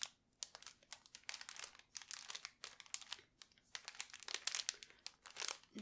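A small, unopened snack cake in a purple and white plastic wrapper is held in both hands while fingertips and long nails crinkle and rub the wrapper. The result is dense, bright crinkling in irregular bursts with short pauses between, with almost nothing in the lows.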